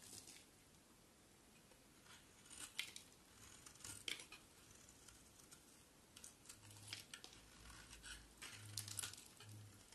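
A solid white bar of soap held in the hand is shaved with a utility knife blade. The scraping cuts come as quiet, dry, bright rasps with crisp crackly edges, spread unevenly through the clip over a faint low hum.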